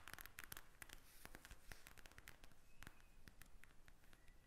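Long red nails tap a pink plastic eye mask filled with gel beads as it lies on a table. The taps come as a rapid, irregular run of dry, crisp clicks with a bright, high edge and no ring, over a faint low rumble.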